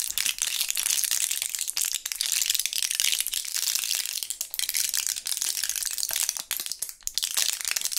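A full plastic blister pack of purple gum pellets with a foil back is squeezed and flexed between gloved fingertips. The plastic bubbles crinkle and crackle in a steady, dense stream of sharp, bright clicks, and the pellets rattle inside with almost no low end.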